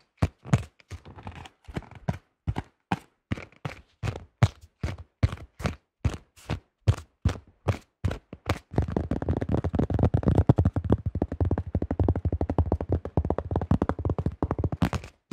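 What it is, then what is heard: Plastic disc golf disc. Fingertips tap the top and rim of a thin-shelled yellow plastic disc golf disc, making short, dull, low-pitched taps with almost no ring. For about the first nine seconds the taps come spaced apart at a steady pace, then they speed up into a dense, continuous flurry of rapid tapping until the end.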